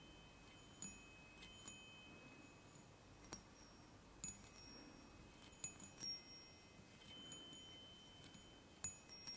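Fingertips tap and rub three hollow aluminium chime tubes mounted on a wooden block. About ten quiet, separate strikes each give a bright, high metallic ping that fades quickly, with soft rubbing sounds between them.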